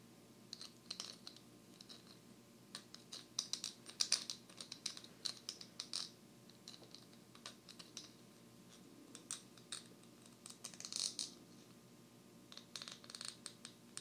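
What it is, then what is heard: Plastic poker chip. A single small blue poker chip of solid plastic or clay composite is held between the fingers and tapped and scratched with long manicured nails. Quiet, bright, clicky taps and scratchy strokes come in irregular bursts, each dying away almost at once, over a faint low steady background.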